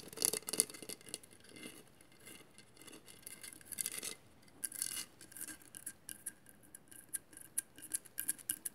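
Long matte nails scratch and tap a hollow glass mosaic vase, giving quiet, bright scraping bursts mixed with a run of sharp, quick clicks that stop almost instantly. The sound sits mostly in the high range with little low end.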